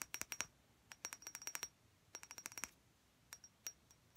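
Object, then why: Thick glass perfume bottle with liquid. Long red-painted nails tap a thick clear glass perfume bottle that is partly filled with liquid. The taps come in quick bursts, each a short bright clink with a thin high ring that dies away almost at once, separated by near silence.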